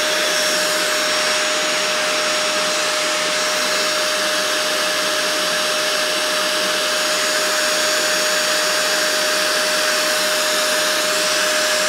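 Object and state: Nothing is struck.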